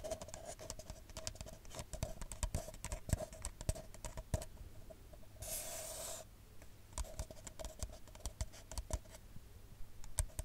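An empty, hollow, brown printed paper coffee cup is held upside down close to the mic and tapped with long nails, giving a dense run of quick, dry, clicky taps with a hollow resonance near 600 Hz and a low thud underneath. Partway through, the tapping pauses for a brief bright, brushy rustle, then the rapid, uneven tapping resumes until the end.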